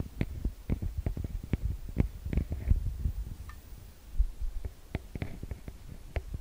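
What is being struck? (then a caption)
Metal mesh microphone capsule grilles. Fingertips and long nails tap and scratch the metal-grille microphone capsules of a TASCAM DR-40X recorder. Heavy, muffled low thumps come in an irregular run, with short bright clicks and faint scratchy brushes between them. Each tap dies away almost at once, with no ring.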